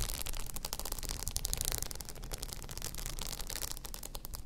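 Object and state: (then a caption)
Rhinestone-covered tumbler being scratched. Long nails scratch across a hollow blue rhinestone-covered tumbler lying on its side. The result is a dense, steady stream of fast, bright, crackly ticks over a low, rumbling undertone.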